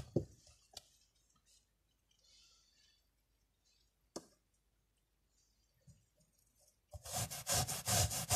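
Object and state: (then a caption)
Miniature fabric carpet being scrubbed. A small, dirty tan woven miniature carpet with a black swirl pattern lies flat on a white surface while hands press it down, making a few soft, sharp taps and faint rustles over a mostly quiet stretch. At about seven seconds, a tiny bristle brush starts scrubbing it with foam, producing loud, rapid, bright rubbing strokes that continue to the end.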